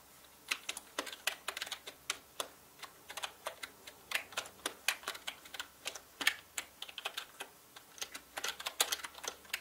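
Fingertips type fast on a full-size black mechanical gaming keyboard with plastic keycaps on a dark, hollow-bodied frame. About 46 sharp, bright, clacky keystrokes come in quick, uneven bursts, each dying away almost instantly with almost no low end.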